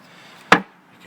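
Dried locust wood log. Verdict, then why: Solid. A dried-out, barkless locust log left outdoors for 14 years is knocked once, giving a short, sharp knock with a hollow-sounding ring that dies away quickly. Despite a split and the hollow tone, the log is still solid, very heavy, dense wood.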